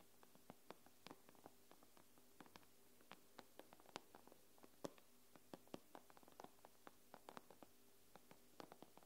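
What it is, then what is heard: Glass tablet screen. Nail tips tap and scratch across the glass screen of an iPad, making about 29 quiet, sharp clicks at an uneven pace. Each tap stops almost instantly, and a faint steady low hum runs underneath.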